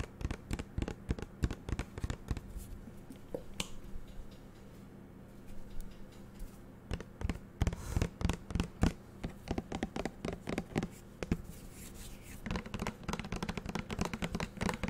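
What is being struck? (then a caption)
Plastic bottle. Fingernails tap rapidly on the sides of a small green translucent plastic shower gel bottle with a black flip cap and a label. Dense, short, hollow clicks come in irregular bursts, with brief lulls between.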